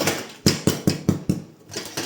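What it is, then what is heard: Sourdough loaf, hollow-sounding (fully baked). The underside of a freshly baked country sourdough loaf, turned over, is tapped seven times, giving short, dull, hollow thumps that die away quickly. The hollow sound shows the loaf is fully baked, and it is then set on a rack to cool so the crust stays crisp.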